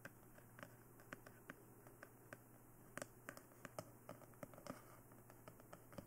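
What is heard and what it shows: A glossy black hollow plastic dummy head microphone is tapped on its sides and face with the long nails of both hands. About 21 quick, dry clicking taps sound over a steady low hum, each ending almost at once.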